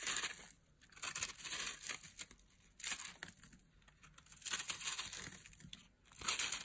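Fingertips with long nails crush, rub and crumble pieces off a hand-sized solid block of dry, chalky white soap held over a pile of coloured soap crumbs, with a green-handled blade briefly in view. Bright, dry crackling and crunching comes in bursts separated by quieter stretches, almost entirely high-pitched with very little low end.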